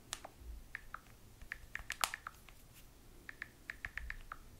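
A small handheld smartphone with a glass touchscreen is typed on continuously with long nails. About sixteen quick, sharp clicks land in uneven bursts, each short and bright with a crisp tone near 1.2 to 2 kHz, over a faint low background hum.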